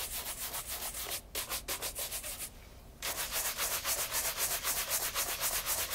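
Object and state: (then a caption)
Leather loafer being brushed. A light brown leather loafer fitted with a wooden shoe tree is held in hand and vigorously brushed with a wooden-backed horsehair brush. Quick, steady back-and-forth strokes make a bright, airy swishing with a brief pause near the middle before the brushing resumes louder.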